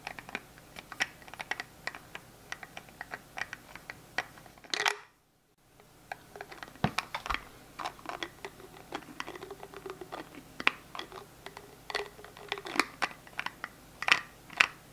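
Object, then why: Small plastic hand gel bottle with flip-top cap. Fingertips snap the flip-top cap of a small translucent plastic hand sanitizer gel bottle open and closed while it is held in the hands. Dozens of quick, sharp, bright plastic clicks and taps follow one another, with a brief silent gap around five seconds in. Each click dies away almost instantly.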